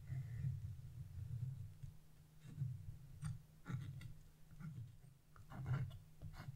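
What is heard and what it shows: A hand with blue nails scrapes a flat wood-handled chisel across the black coating of a wax-coated scratch-art sheet. Each stroke gives a soft, low, rumbling scratch, and some strokes add brief brighter rasps. Short pauses fall between the strokes.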